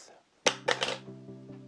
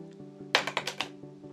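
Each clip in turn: First: metal credit card dropped. Second: plastic credit card dropped.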